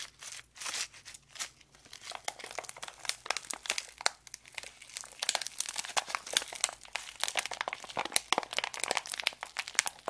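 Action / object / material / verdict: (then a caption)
scrape / foil-plastic candy wrapper / plastic foil / none. A small sealed foil-plastic candy packet, still full, is crinkled, bent and scratched with long acrylic nails and fingertips in both hands. Dense, bright, crackling crinkles and sharp scratchy ticks come in quick overlapping bursts throughout, with almost no low end.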